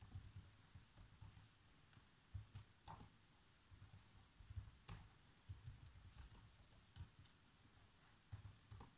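Fingertips type on the black plastic keys of a laptop keyboard. The result is a quiet, irregular patter of soft, dull key taps, mostly low thumps with short bright clicks, each dying away almost instantly.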